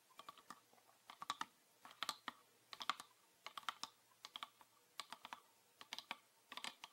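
Fingernails tap a green PET plastic bottle with a red cap, full of liquid, making 32 short, dry clicks over seven seconds. The taps come in quick, uneven clusters, each a bright tick with a faint tone near 1.2 kHz that dies away almost instantly.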